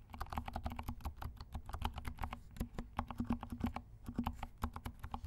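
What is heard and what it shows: A compact black mechanical keyboard with silent switches and black and pink plastic keycaps is typed on with the fingertips of both hands. A quick, steady run of soft, muted keystrokes produces dull, low thocks with little brightness. Each press dies away almost instantly.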